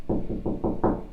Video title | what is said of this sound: Easy Mop and Broom Holder (Tool Holder) | It sounds a little bit differently.